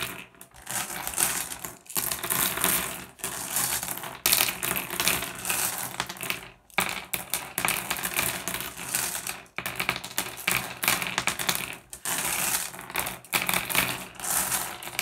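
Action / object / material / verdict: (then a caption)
scrape / small flat glass gems on a wooden surface / glass / none. A pile of small, solid, blue iridescent flat glass gems on a wooden surface is raked and shuffled by fingertips. The result is a dense, bright clatter of glassy clicks and clinks, coming in continuous bursts separated by brief pauses.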